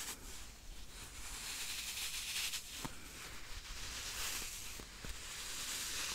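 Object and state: Nothing is struck.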